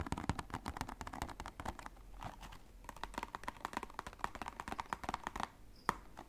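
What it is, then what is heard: Cardboard box. A small red and white printed cardboard box is held in the hands and turned while fingernails tap and scratch its faces. Quick, dry, hollow taps with a papery tone around 1 kHz come in dense runs, broken by softer scratching around the middle. One sharper, louder tap stands out near the end.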